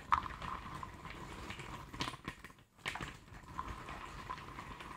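Fingertips and nails of both hands rake, scratch and shuffle a pile of loose cardboard jigsaw puzzle pieces in a tray. The result is a continuous soft, dry rustling and scratching with small clicks, a faint steady tone around 1.2 kHz, and a brief near-silent pause just before the three-second mark.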